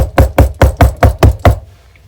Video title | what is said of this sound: How to spot problems on a used RV a salesman secret | What that should sound like, if it was more solid, would be this. Hear the difference in that?